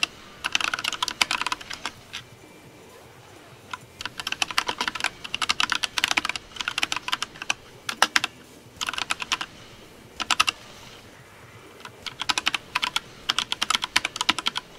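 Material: Plastic.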